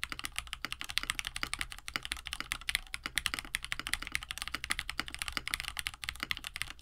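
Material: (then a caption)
Plastic. A compact 65% KBD67 Lite mechanical keyboard with a plastic case, FR4 plate, lubed KineticLabs Hippo linear switches and blue and white PBT keycaps sits on a desk mat while both hands type steadily with the fingertips. Rapid, continuous key presses produce short, bright clacks that stop almost instantly, over a faint low hum.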